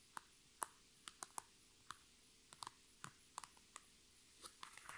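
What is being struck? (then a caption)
Thin PVC cosmetic bag with nails. Long red nails tap and scratch the thin sides and top of a holographic transparent PVC cosmetic bag full of makeup items. The result is quiet, irregular, sharp clicks with a bright, crinkly edge and no ring. Softer scratching sounds come between the taps.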